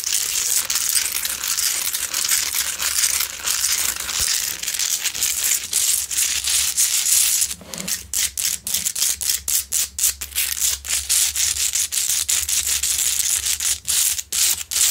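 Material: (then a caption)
Rock salt. Long acrylic nails scratch the rough surface of a large, solid, pink Himalayan salt rock lamp that is lit from inside, making a dense, bright, hissing rasp. The first half is a nearly continuous scrape; after about seven seconds it breaks into quicker, choppier strokes with short gaps, over a faint steady low hum.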